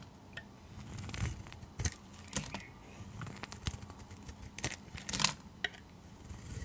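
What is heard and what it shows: A utility knife blade scrapes and shaves thin curls off the surface of a translucent green rectangular glycerin soap bar, solid and held in hand. Short, crisp scraping and crackling bursts come quietly and irregularly, with bright high edges over a soft low rumble.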